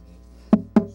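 Chechem wood back and sides of a guitar, whose top is old mahogany, are tapped for comparison. Three short knocks sound, the third cut off at the end, each a dry woody tone centred near 210 Hz that dies away quickly.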